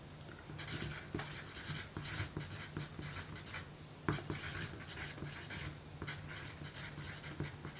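A graphite pencil tip writes and scratches across a small, thin pink paper note card resting on a dark table while the other hand steadies the card. Quiet, dry scratching comes in bursts of bright, hissy strokes with short sharp ticks, over a steady low hum.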